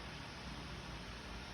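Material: Nothing is struck.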